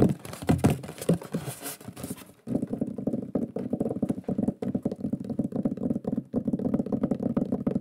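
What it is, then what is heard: Wooden plaque tapped with fingernails. Fingernails and fingertips tap quickly on the surface of a large, flat, solid wooden shield board with a lion pyrography, held in front of the face. The first couple of seconds are brighter and more scratchy, with a brief dip near 2.4 s. After that comes a steady, dense stream of short, dry, low-mid knocks that die away almost instantly.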